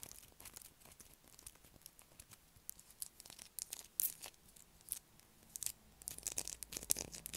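A light blue solid bar of soap is held in the hands while long black acrylic nails scratch across its carved surface. The clip is a quiet run of dry, bright scratching and crinkly ticks that stop sharply without ringing, growing busier and a little louder toward the end.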